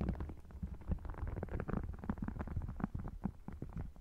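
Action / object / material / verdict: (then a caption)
scrape / faux crocodile-textured leather wallet / faux leather / none. Short nails scratch and tap across the textured surface and edges of an open red faux crocodile leather wallet. The result is a dense run of quick, soft, dull taps mixed with scratchy rasps, heavy in low thumping tones with almost no bright content and very little ring.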